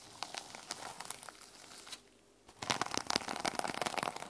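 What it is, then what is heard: Sequin-covered journal. Long nails scratch the teal plastic sequin cover of a small notebook resting on a wooden table, making dry, bright, crinkly rasps. After a brief quiet pause midway, the scratching returns louder and denser, with sharp crackling flicks.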